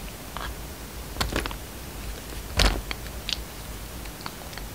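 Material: Soap.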